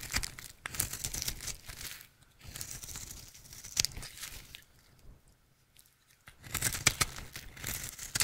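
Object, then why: Bar of dry soap. A utility knife blade carves a rectangular, solid, dry red soap bar held in the hand into flakes, making bright, crisp scraping and crackling cuts. The sound comes in dense bursts, fades to near-silence for about a second and a half, then resumes strongly at the end.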